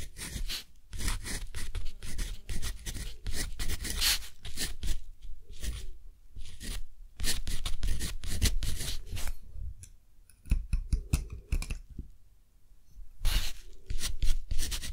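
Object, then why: Dip-pen nib on cotton paper. A metal dip-pen nib scratches and writes across a thick, flat, textured cotton paper sheet while the other hand rests on the paper. Bursts of dry, bright, scratchy pen strokes are broken by short quiet pauses, over a soft low rumble of handling.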